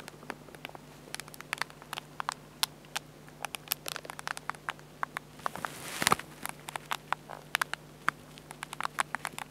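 Fingertips tap and scratch along the screen edge and back buttons of a small, hollow black Olympus compact digital camera with a plastic and glass screen. Dozens of quick, dry, bright clicks patter irregularly, each dying almost instantly, over a faint steady low hum. A brief scratchy rush of friction stands out near the six-second mark.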